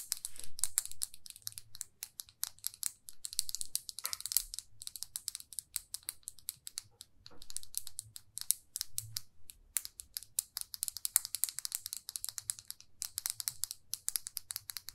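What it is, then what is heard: Plastic lipstick case. Fingernails tap rapidly on a small, glossy red plastic lipstick tube. The dense, dry clicking is bright and crisp, with each tap dying away almost instantly over a faint low rumble.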